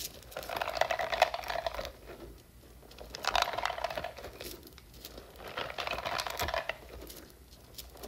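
Long nails scratch across the nubs of a hand-sized, hollow blue silicone spiky puffer toy as hands squeeze and stretch it. Three bursts of dense, crinkly scratching and rubbing rise and fade with quiet gaps between them, carrying a squeaky tone around 700 Hz and a bright, hissy edge.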